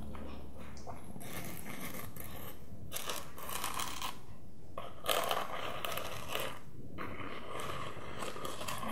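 Medium-length painted fingernails scratch along the glitter upper and platform of a single empty, hollow gold glitter-coated peep-toe platform high heel held in both hands, while a red shoe sits untouched nearby. Soft, bright, gritty rasps come in uneven bursts over a quiet, steady low background, with a slightly louder flurry of scratching just past the midpoint.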